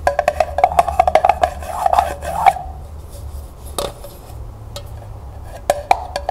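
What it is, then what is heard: Empty tin pail. A small, empty, striped glossy tin pail is held sideways while long nails tap rapidly on its hollow body and on the bottom, where a price label sits. Quick, dry, hollow metallic taps ring briefly around a mid pitch, with a fast run of taps early on. A quieter stretch with soft scratching follows, then a few more sharp taps near the end.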